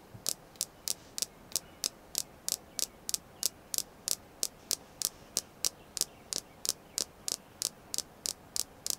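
A red jasper crystal stone is tapped 28 times at a steady pace of about three taps per second. Each tap is a short, dry, bright click with almost no low end and no ring, over a faint background hiss.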